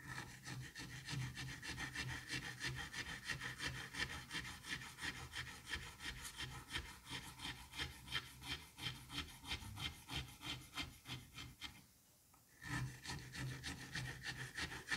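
A thin metal blade on a pink handle cuts down through a solid, palm-sized dome of green kinetic sand that already has parallel slices. It makes a steady, rhythmic, gritty scraping and slicing with a bright, sandy texture. The sound drops to near silence for a moment around the twelve-second mark, then resumes.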